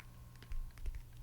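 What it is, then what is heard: Grapefruit tapped. Fingers tap on the skin of a wild-grown, yellow-fleshed grapefruit, making soft, dull taps with almost no ring. The sound is mostly low thumps, with a few faint clicks.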